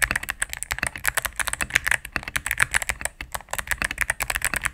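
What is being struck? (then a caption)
Mechanical keyboard with plastic keycaps and plastic case. A cream full-size mechanical keyboard with plastic keycaps on a solid plastic case is typed on rapidly with fingertips and medium nails. About 34 crisp, short clicks and clacks are heard in a steady flurry, centered in the mid range around 1.8 kHz with bright upper edges and little low end.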